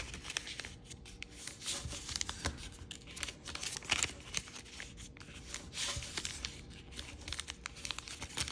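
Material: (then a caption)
Paper. Fingertips fold a small, thin, white-and-red patterned chiyogami origami paper sheet and rub along its creases. The result is a steady stream of dry, bright crinkles and crisp little snaps over soft papery rustling, with quick, short-lived clicks scattered throughout.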